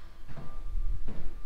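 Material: Nothing is struck.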